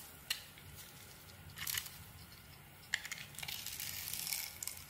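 A small metal blade cuts slices along the edges of a hand-held solid white soap bar with a red glitter coating, and chunks fall off. Quiet, bright crunching and scraping come in short bursts, with sharp crisp clicks near the start and just before the three-second mark. A denser run of crackly shaving follows toward the end.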